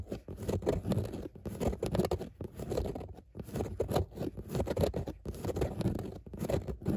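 Long nails scratch rapidly over grey textile car seat upholstery with raised embossed dots. The result is a dense, continuous scratching and scraping patter, mostly low and muffled, in quick bursts with brief pauses between strokes.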